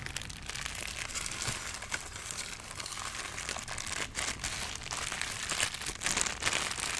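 A hand-sized, rigid white molded styrofoam packing insert with hollow cutouts is held close to the microphone and rubbed and squeezed with the fingertips. It makes a steady run of bright, dry foam squeaks and crinkles with quick, short crackles and very little low end.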